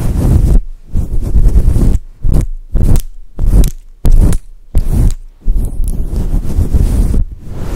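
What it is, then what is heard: Faux fur microphone windscreen rubbed. A grey and white fluffy synthetic fur windscreen over a microphone is rubbed and squeezed with fingers and long nails. The result is deep, muffled rumbling and scratchy bursts, broken up by brief silences and heavy in low end with almost nothing bright.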